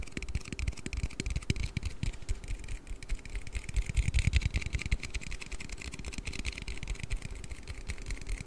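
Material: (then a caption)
Aluminium. An aluminium Red Bull energy-drink can is tapped and handled in a quick, irregular stream of short, soft taps. Each tap is a dull low thump with a brief bright click that dies away almost instantly, and a faint thin ring sits around 2 kHz.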